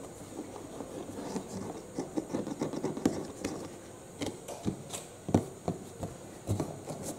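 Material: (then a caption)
Cardboard. Short nails and fingertips scratch and tap the green side panel, then the blue side panel, of a medium-size, hollow, printed cardboard UPS box. Soft, papery scratching runs underneath a series of dull, hollow taps that land with a low-mid thump and die away almost instantly, with a few faint bright ticks on top.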